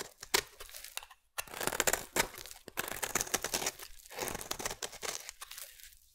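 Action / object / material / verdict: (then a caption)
scrape / bar of soap scraped by a metal blade / soap / none. A metal blade scrapes and shaves the edge of a solid blue bar of soap. Repeated dry, crackly crunching strokes come close together, crisp and bright, with almost no low end and a brief silent pause just after the first second.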